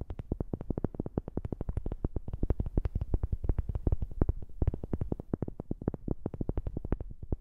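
A wooden object is tapped quickly and steadily with fingertips, recorded close up on a new microphone. The many short, dry knocks are low and thumpy with almost no high end, and each dies away almost at once.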